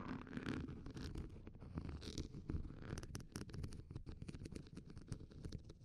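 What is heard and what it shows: The hollow steel mesh ball grille of a Shure SM58 microphone is scratched by the tips of two red wooden pencils held in blue-gloved hands, with the pencil tips also touching each other. It makes a dense, close, continuous scratching with a heavy low rumble and many quick crackling ticks. Sharper, brighter clicks stand out in the second half.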